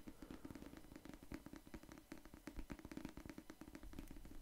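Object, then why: Paperback book with card cover. Fingertips rapidly tap and scratch the cardboard cover of a solid pink paperback novel held close to the microphone. The result is a dense, continuous patter of soft, dull thumps with a muted low-mid body and very little brightness, each tap dying away almost instantly.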